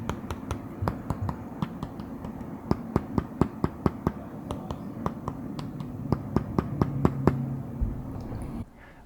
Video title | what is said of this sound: The ONE MONTH ROG Ally Review - This is One Beast of a Handheld PC | the very Hollow sound that the screen makes when tapping it directly in the center